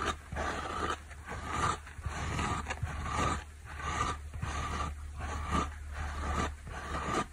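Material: Foam.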